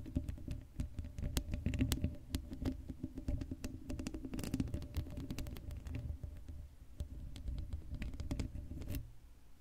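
Long pale-blue acrylic nails scratch and tap the uncovered black metal mesh grille on the hollow dome head of a Blue Yeti USB microphone, then the hands cup it. Dense, rapid scratching and tapping come through as boomy, low-heavy thumps and rustles with short, dry clicks that stop almost at once. The sound drops to a quieter, muffled rumble near the end.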